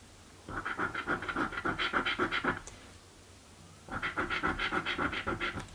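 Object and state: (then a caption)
Scratch-off lottery ticket being scratched with a coin. A coin held in the fingertips rapidly scratches the panels of a blue paper scratch lottery ticket. Quick, rasping strokes with a mid-high scraping tone come in two bursts separated by a brief pause.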